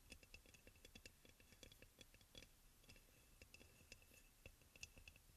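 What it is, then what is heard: Ceramic oil burner. Fingernails tap quickly on the shoulder and sides of a hollow white crackle-glazed ceramic aroma oil burner with a front opening. The result is a quiet, rapid run of light clicky taps, each with a short, bright ceramic ping near 2.7 kHz that dies away almost at once.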